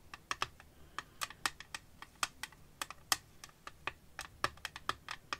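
Long painted nails tap and scratch the back panel of an empty, clear glass-and-plastic phone case with a dark green rim, held flat in one hand just above a lace-covered surface. About two dozen quick, sharp, bright clicks come in an irregular run, with almost no low end and no ringing after each tap.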